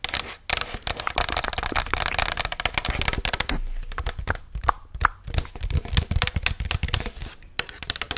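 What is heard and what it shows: Long nails tap and scratch the side and rim area of a hollow white Chipotle paper cup held upright. The result is a dense run of rapid, crisp taps mixed with papery scraping and crinkling, bright at the top with soft hollow thumps underneath. Each tap dies away almost instantly.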